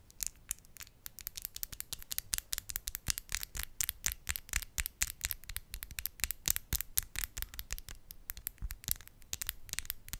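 Long, decorated acrylic press-on nails, small hard hollow shells worn on the fingertips, are tapped and clicked against each other nail on nail close in front of a microphone. The result is a rapid, irregular stream of sharp, bright clicks that die away almost instantly, over a faint low background hum.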